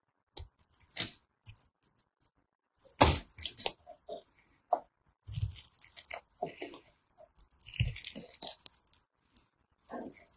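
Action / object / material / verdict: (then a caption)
scrape / soap bar / soap / none. A thin metal blade scores and scrapes a grid pattern into the surface of a solid rectangular green bar of soap, held in fingers with yellow-painted nails, sending off flakes. Short, dry crunching and crackling scrapes come in irregular bursts, bright and crisp with brief low thuds beneath some strokes. Quiet gaps separate them.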